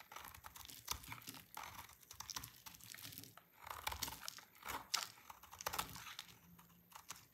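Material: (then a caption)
Soap. A solid pink dry soap bar is cut and scraped with a utility knife blade, breaking off brittle shavings. The sound is a quiet, bright run of crisp crunching and scraping clicks in uneven bursts, with short dry snaps and little low end.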